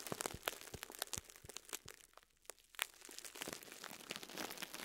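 A soft foam sponge in clear plastic wrap is squeezed and crumpled by fingertips, crinkling the wrap. Rapid, bright crackles and crunchy snaps come in dense bursts, dip into a brief near-silence midway, then resume as a steadier rustling crinkle.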